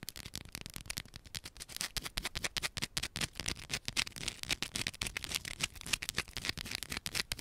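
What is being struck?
Bar of soap.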